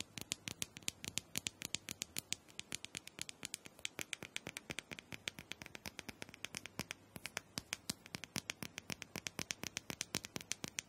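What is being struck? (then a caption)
Small round plastic dome massager tapped with long nails. Long acrylic nails rapidly tap and scratch the plastic dome top of a small, round, hollow plastic massager. The result is a steady stream of some eighty quiet, sharp, bright clicks, each dying away instantly with no ring, over a faint scratchy hiss and little low end.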